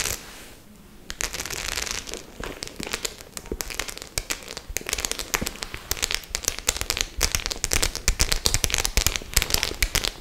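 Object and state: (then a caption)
Studded faux leather clutch bag. Long nails scratch and tap across the metal studs of a white faux-leather clutch bag held close up. After a near-silent first second, a dense, bright run of crisp clicks and scraping crackles continues to the end, each tap short and dry, growing slightly busier and louder toward the close.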